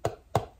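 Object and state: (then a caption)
Jar lid not vacuum-sealed. Three quick taps on a jar lid that has been closed again without pumping, so it is not under vacuum. Each tap is a short, dull knock with a low thump and a quick fade, sounding quite different from the vacuum-sealed lid.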